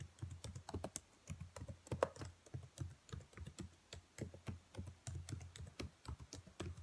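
Fingernails tap and type across the black plastic keys of a dark laptop keyboard. The result is a steady run of soft, dull key clicks with a low thud and short bright ticks that die away almost instantly.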